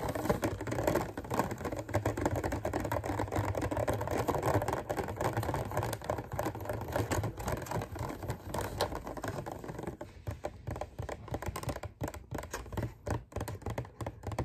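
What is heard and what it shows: Fingertips tap and scratch the ridged lid of a clear thin-plastic clamshell container holding green grapes on the stem. A dense, fast run of light crackly taps and scrapes with a low hollow thump underneath fills most of the clip, thinning into sparser, more separate taps with short gaps near the end.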